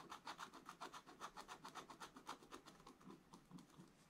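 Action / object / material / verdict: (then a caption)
scrape / coated scratch-art paper scratched with a wooden stylus / coated paper / none. A wooden stylus scratches the black coating of a scratch-art paper page in short strokes while a hand holds the book flat. About 21 quick, dry, raspy scrapes come in a steady rhythm, each with a bright, hissy edge centred near 1 kHz. They fade slightly softer toward the end.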